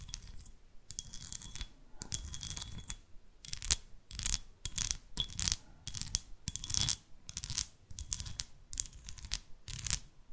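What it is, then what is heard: Glass candle holder. Long artificial nails tap and scratch a small, hollow, green textured glass candle holder shaped like an owl, which appears empty. The result is a quick run of bright, crisp clicks and rasping scrapes in short bursts, with a faint thin glassy tone underneath and almost no ring after each touch.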